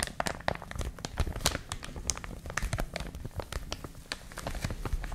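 A clear, thin plastic bag wrapping a white and blue printed product is held in both hands and squeezed and crinkled with long manicured nails and fingertips. It gives a steady run of quick, sharp crackles and crinkles with a hollow low rustle underneath. Brief bright snaps stand out from the dense texture.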